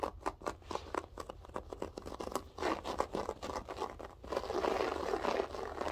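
Long French-tip nails scratch and pick at the loops of a grey loop-pile berber carpet. Quick, irregular dry scratches and crinkly crackles come in rapid succession, then merge into a denser, steadier and slightly louder scraping near the end.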